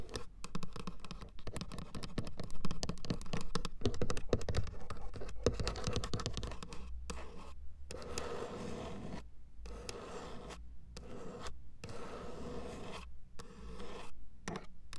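Long acrylic nails scratch and tap a grey plastic car door armrest panel with window switch buttons, a hollow moulded part. Dense, dry scratching and quick clicking taps fill the clip, with a dull, low, hollow knock under the strokes.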